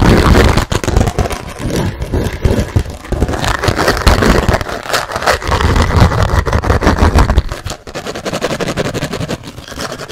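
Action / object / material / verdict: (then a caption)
scrape / thin plastic food container lid / plastic / none. A thin, clear plastic rectangular food container lid with a red vent button is scratched fast with fingernails while held in front of the microphone. The result is a dense, irregular stream of rapid scratching strokes with a strong low, rumbling body and only a little brightness. The level softens somewhat toward the end.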